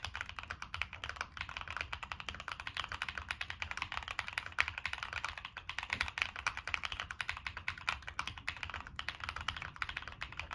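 Fingertips type continuously on a Monsgeek M1 mechanical keyboard with a black aluminum case, plastic keycaps and NK Cream switches. A rapid, steady stream of short, bright clacks is heard, each keystroke dying away almost instantly with no ring, with a faint low thud beneath them.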